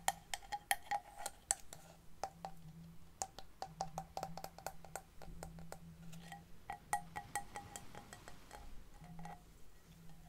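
Long painted nails tap and scratch a large, cream-colored hollow seashell held in both hands. They produce a quiet, irregular stream of short, dry clicks, each with a brief hollow ring, over a faint low hum.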